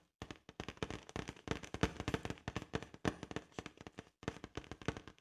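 Long acrylic nails tap and scratch the surface of a large, hollow, inflated blue latex balloon. The result is a quick, irregular run of short, dull taps with scratchy, rubbery texture, broken by a few brief pauses, and each tap dies away almost instantly.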